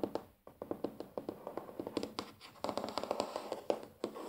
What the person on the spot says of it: ASMR | Tapping on wooden table